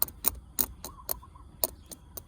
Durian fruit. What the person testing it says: แบบนี้เกือบจะสุกแล้ว